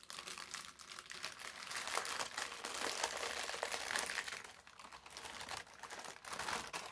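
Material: Paper.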